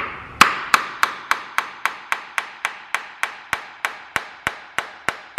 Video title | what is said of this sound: How To... Dana 70 Posi Rebuild (Torque Specs In Description) | you can hear when you're tapping it the sound will change and that'll tell you that the silicone is starting to come loose